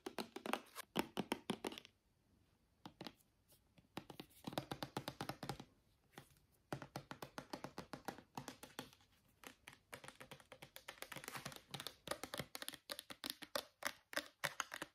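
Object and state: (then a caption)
Plastic shampoo bottle. A small white plastic shampoo bottle with a blue cap is tapped and scratched with fingernails, giving rapid, dry, short clicks and taps. The taps come in dense bursts, with a quiet pause around the two-to-three-second mark and another near six seconds.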